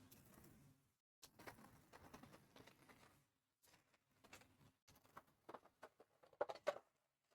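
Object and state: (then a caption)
Crisp, well-baked granola. Golden, homemade baked granola is emptied from baking paper into a dish, giving a dry, crunchy patter of falling clusters in several bursts with brief pauses between them. The sound ends in a few louder, sharper clatters, and the crispness shows the granola is well baked.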